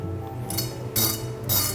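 A croque monsieur toasted sandwich, just baked in an air fryer, has its crust worked to make a sound, giving bright, crackly crunching bursts over a low steady hum. The crunchy sound shows the toast is crisp and done.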